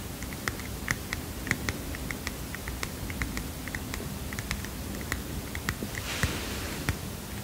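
Fingernails tap a small heart-shaped paper mini notepad in a quick, uneven run of light, crisp clicks. Each tick is short and bright with almost no ring, over a steady low hum. A brief papery rustle comes near the end.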